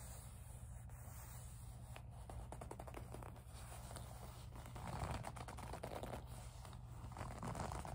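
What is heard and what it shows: Long nails squeeze, rub and scratch the surface of a small, hollow pink faux leather zip pouch. The result is a steady, low, muffled rubbing with dense, irregular crackly scratches and faint ticks. It grows slightly louder and brighter about halfway through.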